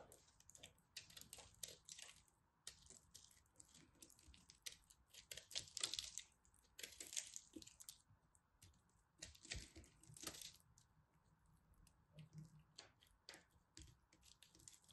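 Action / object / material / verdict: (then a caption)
scrape / ball of pressed soap flakes / soap / none. A small black utility knife carves and scrapes chunks off a fist-sized solid ball of pressed multicolored soap flakes, held in both hands with long red nails. Dense, bright crackling scrapes and crisp crunching bursts come in irregular clusters, with short pauses between cuts.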